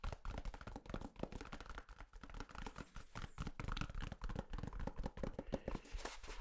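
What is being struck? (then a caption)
Paper toilet roll. Fingertips rapidly tap and scratch the flat paper end of a full, hand-sized white toilet paper roll, soft paper wound around a hollow cardboard core, held face-on to the microphone. The result is a dense stream of soft, muffled thumps and brushing scratches, mostly low and dull, with each tap dying away almost at once.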